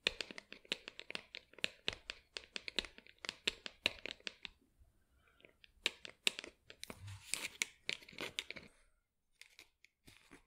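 Long acrylic nails tap and scratch the sides of a small, hollow, matte black plastic pot holding an artificial plant, held in both hands. Quick, dry, bright clicks come in rapid bursts with almost no low end and no ring. After a short pause, a raspy scratching passage runs before a few softer taps end the clip.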